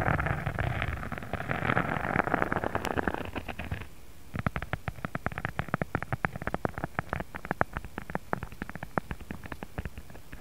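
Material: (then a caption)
Faux leather. Fingertips and short nails of both hands scratch and tap a flat, thin pink faux leather sheet with an embossed checker texture, lying on a cutting mat. For about four seconds a dense, continuous scratching rasp fills the low and mid range. It gives way to a rapid run of short, dry taps and clicks that stop quickly and sit over a quiet background.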